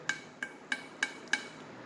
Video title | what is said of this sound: Comparing stock Hellcat driveshaft to Redeye/Demon drive shaft | This is stock, kind of hollow sounding.